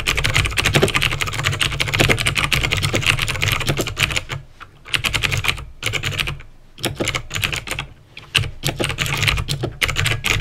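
Fingertips type rapidly on a backlit plastic mechanical keyboard with clicky green switches, producing a dense stream of sharp, bright clicks over a steady low hum. The typing runs in fast bursts with brief quiet pauses around 4.5, 6.7 and 8 seconds before resuming.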